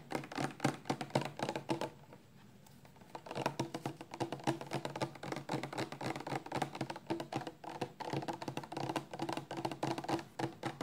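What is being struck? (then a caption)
Plastic shampoo bottle. Long nails tap quickly and unevenly on a 400 mL clear plastic shampoo bottle, full of amber liquid and held sideways in both hands. The taps make dull, hollow clicks with a low body and almost no ring, with a brief quiet pause near the two-second mark before the fast tapping resumes.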